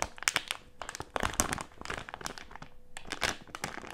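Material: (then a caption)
Plastic film. A medium printed plastic-film Haribo gummy candy bag with gummies inside is crumpled and scrunched in both hands with the fingertips. Bright, dry crinkles and sharp crackles come in dense overlapping bursts with quieter rustling between them. Each crackle cuts off almost instantly, with no ring.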